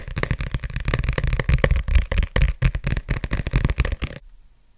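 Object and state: Paperback book with glossy cover.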